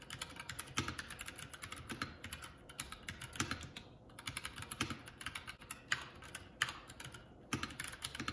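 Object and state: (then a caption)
Plastic mechanical keyboard. Fingertips of both hands type continuously on a Keycool K84 75% mechanical keyboard with plastic keycaps. The result is a steady stream of short, bright, clacky keystrokes with occasional louder strikes standing out, and almost no ring after each hit.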